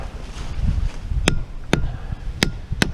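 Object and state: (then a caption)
Solid standing dead hickory trunk. Four thumps on the trunk of a dead standing hickory tree before it is felled, each a short, sharp knock over low rumbling background noise. The trunk sounds solid; its rot and insect damage were mostly confined to the sapwood.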